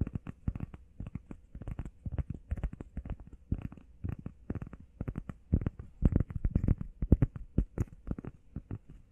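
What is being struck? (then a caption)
EVA foam workout pad. Long painted nails and fingertips rapidly tap and scratch on a flat, solid, hand-sized grey textured EVA foam workout pad shaped like a heart. The result is a fast, uneven stream of dull, muffled, low thuds with soft scratchy texture and no ring after each hit.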